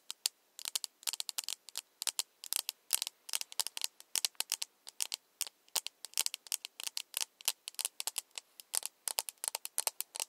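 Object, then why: Small plastic cup. A small, empty, hollow plastic cup held in the hands has its side tapped with long nails. The result is quick, irregular bursts of dry, bright clicking taps, each dying away almost instantly, with almost no low end.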